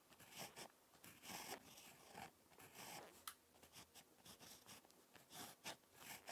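A ballpoint pen tip scratches across a page of lined spiral notebook paper while handwriting, giving a series of quiet, bright, papery scratching strokes with short pauses between them. The sound is soft and close, mostly high and hissy with little low end, and one sharper tick stands out near the middle.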